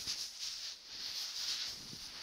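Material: Nothing is struck.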